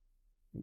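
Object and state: Hard high-temperature 3D-printed plastic with a metal-like knock.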